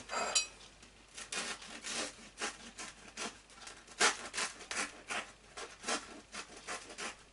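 A knife held in one hand saws across the crisp crust of a small, freshly baked, solid wheat bread roll held in the other hand, cutting it open. A quick series of dry, bright rasping and scraping strokes comes with each short pass of the blade over the crust.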